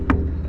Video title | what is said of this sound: ⚖️ The importance of scaling your loads | that's the sound your strapes will make when and they are very tight and that's what you want